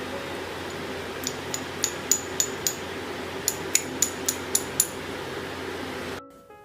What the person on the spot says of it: గట్టిగా అయ్యి కొడితే టంగుమని సౌండ్ వస్తుంది విరిపితే విరుగుతుంది